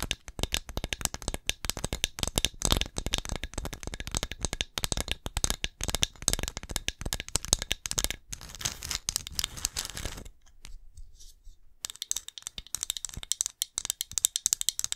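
Long nails rapidly tap and scratch a small, hollow, glossy ceramic pumpkin ornament marked "BLESSED," held close to the mic. The result is a dense stream of crisp, bright clicks and scratchy rattling with almost no ring, briefly thinning out around the ten-second mark before picking back up.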